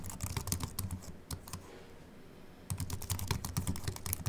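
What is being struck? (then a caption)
Slim keyboard with aluminium body and plastic keys. Continuous two-handed fingertip typing on a slim Apple Mac keyboard with an aluminium body and white plastic keys gives quick, light clicks with a bright top edge. A short lull near the middle leaves only a faint hiss before the typing resumes at full pace.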